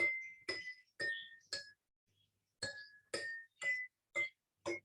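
A row of drinking glasses filled with different amounts of water, least on the left and most on the right, is struck one after another. Nine short, bright glassy clinks ring out in two groups, each with a clear tone around 2 kHz. The pitch shifts from glass to glass, showing that the different water levels give different notes.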